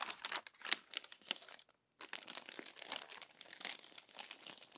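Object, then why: Glossy magazine paper. Long-nailed fingers press and smooth the wrinkled pages of an open, crumpled glossy paper magazine and turn a page. The result is dense, bright crinkling and crackling with a brief silent pause near the two-second mark.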